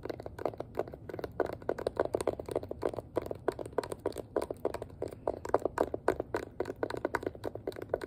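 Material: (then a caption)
Plastic. Long nails and fingertips tap quickly and steadily on the hollow, rounded back of a hand-sized pink plastic detangling hairbrush. Each tap is a dry, hollow click centred around 500 Hz that stops almost at once, with no ring. The result is a continuous run of soft, uneven clicks over about eight seconds.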